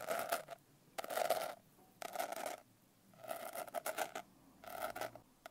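Long nails scratch across the rough, coarse blue glitter cover of a medium notebook held upright. The result is five gritty, rasping scratch bursts separated by short quiet gaps, with a mid-pitched body and a brighter hiss on top.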